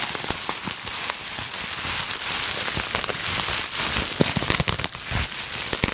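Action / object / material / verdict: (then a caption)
scrape / plastic bubble wrap sheet / plastic / none. A sheet of clear plastic bubble wrap is scrunched and crinkled in both hands with long nails. It makes a steady, dense, bright crackle with sharp little snaps scattered throughout, and the texture stays busy and hissy from start to finish.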